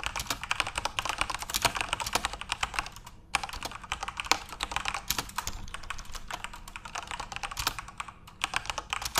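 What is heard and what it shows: Fingertips type continuously on a backlit plastic Corsair mechanical RGB keyboard, producing a rapid stream of short, bright, clicky keystrokes. The typing pauses briefly around the three- and eight-second marks, and each keystroke dies away almost instantly.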